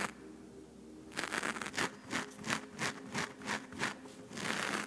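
Long nails scratch a black foam windscreen on a microphone, first with one hand and then with both. After about a second of faint hiss, dry, bright, rustling scrapes begin and repeat in quick, uneven strokes, with almost no low end.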